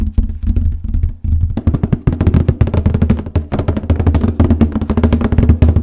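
Fingernails and fingertips tap and scratch rapidly on the top of a large printed cardboard paper case box, making a steady stream of short, hollow, low thumps with crisp scratchy edges. Each tap dies away almost immediately, and the hands lift off by the end.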